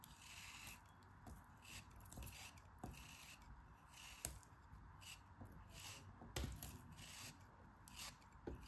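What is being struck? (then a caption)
Kinetic sand block cut with a metal craft knife. A metal craft knife slices thin layers off a solid pink kinetic sand block held by fingers with long painted nails. Soft, gritty scraping and cutting strokes repeat at an uneven pace, with a few sharper ticks standing out above the quiet, low rustle.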